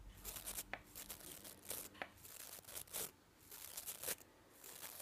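Fingernails rub and scratch through the nylon bristles of a manual toothbrush head held close up. The result is a quick, uneven run of dry, bright, crackling rasps with brief quieter gaps between bursts, little low end, and no ringing afterward.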